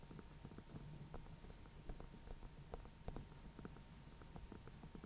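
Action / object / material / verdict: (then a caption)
tap / small painted pumpkin / pumpkin rind / none. A small orange-yellow pumpkin with a painted face, a hollow gourd held in both hands, is tapped with nails and fingertips on the top near the stem. The result is a quiet, steady patter of soft, dull, low taps that stop short without ringing, over a faint steady hum.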